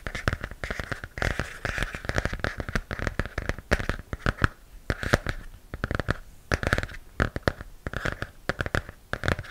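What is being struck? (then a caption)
Hardcover book with cardboard cover. Long nails scratch and tap on the cardboard cover of a large hardcover comic book with a glossy print, held upright. Dense, irregular dry taps and scratchy strokes come fast with short pauses between bursts. Each has a low thump and a crisp mid-range rasp that dies almost at once.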